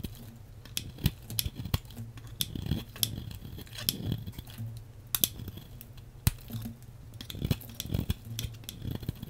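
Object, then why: Bar of soap cut with a metal blade. A hand-sized solid beige bar of soap, held by long-nailed fingers, is cut and scraped into slices with a metal blade. A series of sharp, crisp clicks and snips is heard over a low steady hum, each cut ringing briefly with a bright, papery scraping edge.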